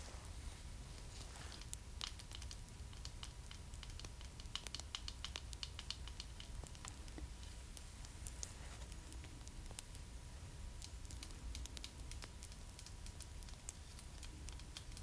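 Long black stiletto nails tap rapidly and lightly on the small, hollow, hard plastic head of a Pullip doll, making a quiet, dense patter of sharp clicks. The tapping runs over a steady low hum and a faint constant tone, with some soft rustling that may come from the doll's hair or costume.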